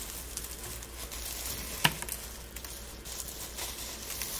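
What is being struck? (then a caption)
Dried rose petals and buds. Gloved hands squeeze and rub handfuls of dry rose petals and buds, making a soft, steady, bright crinkling rustle. One sharper, louder crackle stands out partway through, followed by a few smaller crisp snaps over a low background hum.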